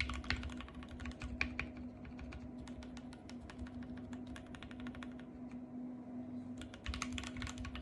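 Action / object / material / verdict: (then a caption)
tap / plastic mechanical keyboard keys / plastic / none. Fingertips with long painted nails type and tap on the white plastic keycaps of a compact RGB-backlit mechanical keyboard. A fast, steady stream of sharp, bright clicks and clacks plays over a constant low hum, with a brief lull in the middle before the quick typing picks up again.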